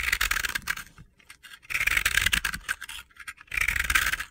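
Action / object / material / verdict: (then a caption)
scrape / pressed-powder bath bomb / pressed powder / none. A utility-knife blade scrapes a palm-sized, solid yellow-pink pressed-powder bath bomb held in the hand, shaving off crumbly, gritty bits. Three bursts of dry, bright, gritty scratching are heard, separated by brief quieter pauses with faint crackles.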